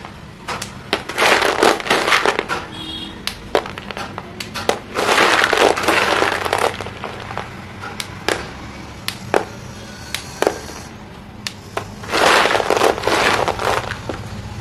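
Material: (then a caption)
Chalk. One hand presses, rubs and stirs through a pile of many small solid white chalk pieces in a green plastic basin, crushing them. Dense bursts of dry, gritty crunching come in waves, separated by quieter stretches with sharp, bright clicks as pieces snap and knock together.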